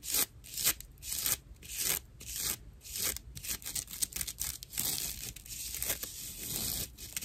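Long nails scratch a dry natural loofah pad with a string loop, a fibrous plant material with hollow channels. The result is rough, bright scratching and crinkling in irregular bursts, heavy in high hiss with little low end.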